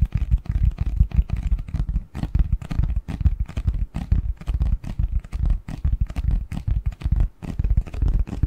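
Fingers tap and scratch the front and edges of a medium-sized, hollow, printed cardboard Christmas box lid held in both hands. The result is a dense, irregular run of quick, dull, low thuds mixed with soft scratching, with each tap dying away almost at once.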